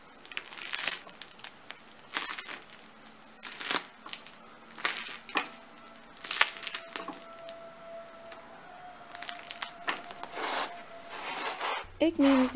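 A freshly baked homemade bread loaf with a crisp crust is pressed and broken apart by hand. Its crust gives off bursts of dry crackling, crunching and crinkling. Between the bursts a faint steady tone is heard, and the crumb inside is soft while the outside stays crispy.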